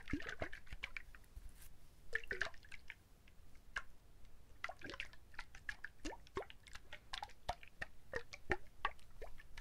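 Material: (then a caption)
Coconut shell. A whole brown husked coconut with water inside is held up and shaken by hand, making the liquid slosh against the shell. Quick, irregular wet drips and squishy splashes follow one another with short, bright tones and little ring, over a quiet low background.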